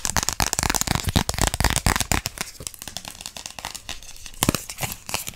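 A small, thin, flat pink plastic gift card with a ring logo is held in both hands and quickly tapped and scratched with long pink acrylic nails. Rapid, irregular dry clicks and crinkly scratches with almost no ring are heard. The tapping is dense in the first two seconds, thins out, then returns in a short loud burst near the end.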